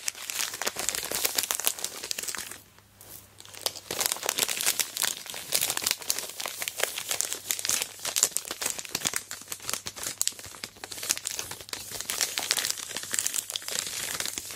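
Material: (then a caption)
Plastic film. A large sealed Aero Mint chocolate bar in its plastic wrapper is flipped over, gripped, squeezed and scraped with long black nails. This makes a steady stream of dense, bright plastic crinkling and scratching, with a brief quiet pause near the three-second mark before it resumes.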